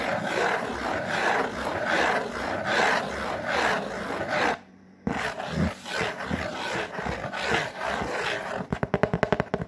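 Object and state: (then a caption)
Corrugated cardboard sheet being scratched. Long fingernails scratch and rub across a large, flat, brown corrugated cardboard sheet, making steady dry rasping strokes in a loose rhythm. The scratching stops briefly in the middle, then resumes and ends with a quick run of sharp, bright scratches.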